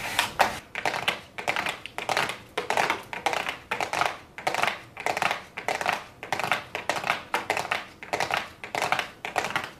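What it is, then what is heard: Cardboard makeup palette. Very long blue acrylic nails tap and lightly scratch the lid of a flat, closed, gold-foil cardboard eyeshadow palette (Too Faced "Golden" style), hollow and thin, lying on a wooden desk. Quick clusters of dry, bright clicky taps with a papery edge repeat in steady bursts, with little low end and almost no ring between them.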